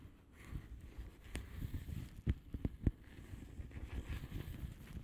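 Long polished nail tips tap the air bubbles of a flat blue plastic bubble wrap envelope lying on a surface. A steady run of soft, dull, low taps is broken by a short cluster of sharper, brighter clicks near the middle. Each tap dies away almost instantly.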